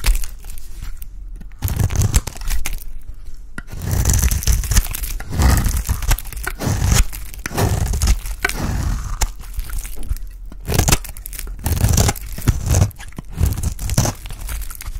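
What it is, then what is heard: Dry bar soap being shaved. A blade scrapes and shaves a solid, dry orange bar of soap, peeling off curls. Repeated dry, crunchy scraping and crinkling strokes come in bursts, each with a dull, low-heavy body and a brief bright edge, separated by short pauses.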